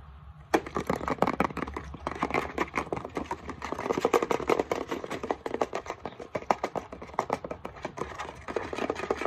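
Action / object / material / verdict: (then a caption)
tap / plastic isopropyl alcohol bottle / plastic / none. Fingernails tap quickly on the front and base of a hollow, partly full Equate 70% isopropyl alcohol plastic bottle. Beginning about half a second in, a dense, uneven stream of dry, clicky taps continues to the end, with a midrange knock near 760 Hz, bright edges and almost no ring. A faint low hum sits underneath.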